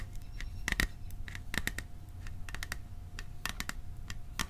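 Fingertips and nails tap the side of a small cylindrical hollow metal popcorn tin with a printed winter scene, held upright. The taps come in quick, irregular bursts, giving short, bright metallic clicks with a faint ring near 1.9 kHz that dies away almost at once over a low steady rumble.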